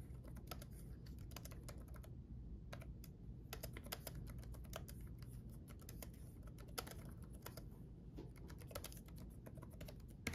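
Fingertips of both hands type quickly on a black backlit laptop keyboard with plastic keycaps, producing dense, short, bright key taps. The clicks ride over a steady low hum that fills the background throughout.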